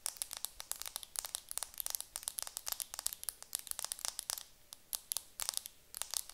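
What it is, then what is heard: Plastic-wrapped makeup compact. A round makeup compact wrapped in clear plastic film is held in the hands while long nails scratch and crinkle the film. The result is a quiet, rapid stream of sharp, bright crackles and ticks, almost all high-pitched, with little low end and no ring after each sound.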